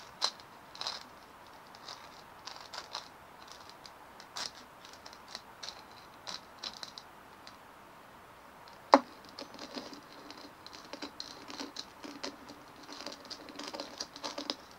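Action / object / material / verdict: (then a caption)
scrape / dimpled plastic ball / plastic / none. Long fingernails scratch and tap a large white dimpled plastic ball as it is held and turned on a table. Quiet, dry clicks and bright scratchy rasps come in scattered bursts with almost no low end, and one sharper, louder tap stands out partway through. Each sound dies away almost at once.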